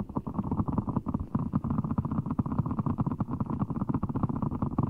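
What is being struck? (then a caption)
Large ball of water gel beads in a clear rubber skin. A large, full giant orbeez ball, blue water gel beads in a clear rubber skin, is held over the mic while fingertips squeeze and rub it. A dense run of soft, wet squelches and rapid muffled pops fills the clip, low and thick with almost nothing bright on top.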